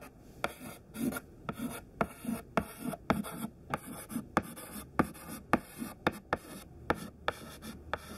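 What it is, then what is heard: Chalk writing on a chalkboard. A thin white chalk stick held in the fingertips writes list words on a black chalkboard. Short scratchy strokes are broken by about fifteen sharp, irregular taps of the chalk against the board, each dying away almost instantly with a dry, bright edge.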